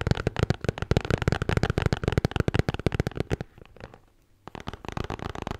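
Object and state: Beer can holder.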